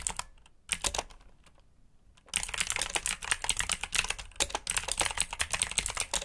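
Fingertips type on a black backlit mechanical keyboard with plastic keycaps, giving bright, crisp clacks with very little low end. A few scattered keystrokes are followed by a brief near-silent pause, then a fast, steady run of typing that continues to the end.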